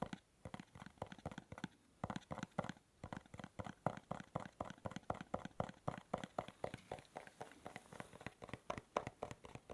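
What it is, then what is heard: Cardboard gift box. A small, hollow, dark navy cube-shaped cardboard gift box is held close to the microphone and tapped and scratched with fingernails. Quick, dry, hollow taps come in a loose, uneven rhythm with faint scratching between them, pausing briefly near the start before continuing steadily. Each tap is muffled and dies away almost at once.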